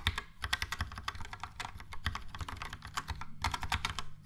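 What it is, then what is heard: Plastic mechanical keyboard. Fast typing with the fingertips of both hands on a Logitech POP Keys mechanical keyboard, with a yellow plastic case and round plastic keycaps. Quick, uneven bursts of crisp plastic clacks carry bright clicky tops over a soft low thump, each stroke dying away almost at once. There is a brief lull around the middle before the rapid typing picks back up.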